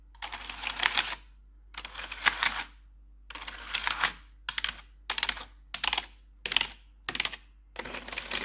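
Long metal claw nails tap rapidly across the keycaps of a black plastic RGB backlit computer keyboard. Nine short bursts of bright, crisp clicking are separated by brief pauses.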